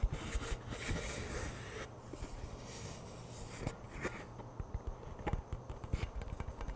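A hollow cardboard-composite Pringles chip can is held in both hands while fingertips tap and scratch its side and end. Soft, dull taps with very short, dry decay are scattered over a steady low hum. Stretches of brushy, bright scratching noise pass between them.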